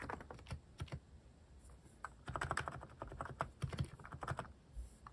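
Fingertips type rapidly on a cream plastic-cased mechanical keyboard fitted with cat-themed plastic keycaps. The keystrokes are short, dull clacks weighted toward the low end, with very little ring. A sparse run of strokes and a brief lull give way to a denser burst of typing.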